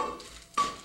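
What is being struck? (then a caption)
Two cement blocks. Two cement blocks are clanged together twice, each strike giving a short, bright metallic-sounding ring around 1.1 kHz that fades within a fraction of a second. The ring shows vibration running through the cement, which is why cement breaks by vibration.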